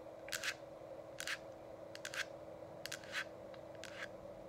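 Long acrylic nails tap and scratch both sides of the hollow, frosted plastic dome of an essential oil diffuser that is lit and switched on. Short, bright clicky bursts come in small clusters over a steady low hum from the running diffuser, and each burst dies away quickly.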